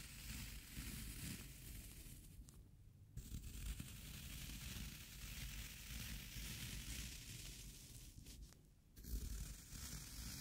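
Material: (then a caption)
Floral foam. A small metal scraper blade with a yellow plastic handle scrapes and gouges pits into the top of a round, solid, wet green floral foam cylinder resting on a dark cloth. The result is a steady, crunchy, crackling scrape with a gritty rustle and a low rumble underneath. It breaks off into two brief near-silent pauses before resuming.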